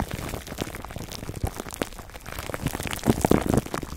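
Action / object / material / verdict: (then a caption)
scrape / plastic cling film stretched over a foam mic windscreen / plastic film / none. Fingertips of both hands scratch clear plastic cling film wrapped over a black foam microphone windscreen. Dense, irregular crinkling and scratching crackles fill the clip, growing louder and fuller toward the end.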